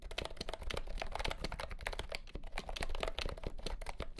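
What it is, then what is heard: Plastic compact keyboard being typed on. Fingertips type quickly on a compact, hollow-bodied pastel green plastic keyboard with round keycaps, lit under green light. The result is a dense run of short, hollow plastic clacks, each with a low thump and a mid-pitched click that dies away almost at once.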